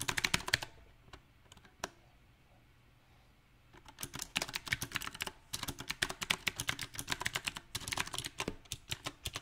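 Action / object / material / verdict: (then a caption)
tap / mechanical keyboard with round plastic keycaps / plastic / none. Fingertips type on a backlit compact mechanical keyboard with round typewriter-style plastic keycaps on a silver metal frame, giving sharp, bright, short clicks. A quick burst of keystrokes opens the clip, thins to a few isolated taps, and pauses in near silence. Uneven typing then resumes and continues to the end.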